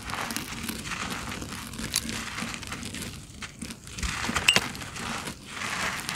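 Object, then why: Sand-cement clumps crushed by hand. Bare hands crush and crumble solid, dry, gritty sand-cement clumps with the fingertips and palms, sending crumbs falling from the fingers. A steady, bright, grainy crackle runs throughout, easing briefly in the middle before a few sharper gritty snaps and returning to continuous crumbling.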